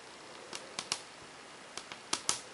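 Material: Melamine.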